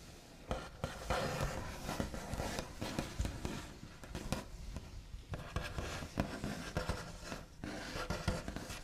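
Backs of fingernails on both hands tap and trace over a large, flat, solid wooden tabletop with a smooth white finish. Soft scratchy rubbing runs continuously, punctuated by short, dull taps that die away almost at once, with most of the energy low and little high brightness.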